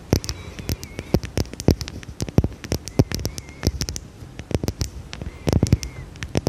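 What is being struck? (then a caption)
Small glass perfume bottle. Long red nails tap a small, dark, square glass perfume bottle with a cap, held in the hand. The result is a rapid, irregular run of crisp, dry clicks that stop almost instantly, with a weighty low thump under each tap. Faint, thin gliding squeaks sound between the taps.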